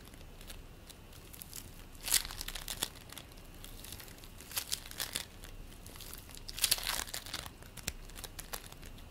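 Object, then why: Polystyrene bead play foam. Both hands squeeze and knead a large purple lump of play foam made of polystyrene beads, while a green foam lump lies nearby untouched. It gives a quiet, bright, crinkly crackle throughout, with louder bursts of dense popping as the beads are pressed harder.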